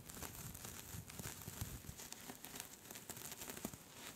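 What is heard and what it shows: Long pink nails on both hands scratch quickly across a soft pink cable-knit knitted scarf. A dense, continuous crinkling and scratching texture rustles with soft low thumps and bright, hissy fibre scrapes, with no clear pauses.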